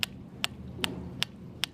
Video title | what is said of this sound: TDW 1290 - The Bell Rock : Stone Actually Rings | It's pretty much like a bland rock against rock sound.